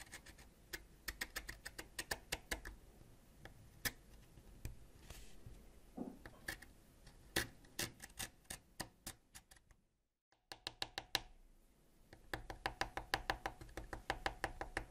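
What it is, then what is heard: Wax crayon being scraped. A white ceramic knife repeatedly scrapes a thin, solid purple wax crayon, piling shavings onto a dark surface. The sound is a quick, irregular series of sharp, dry scratchy clicks with bright edges, broken by a brief silence at about ten seconds before the scraping resumes.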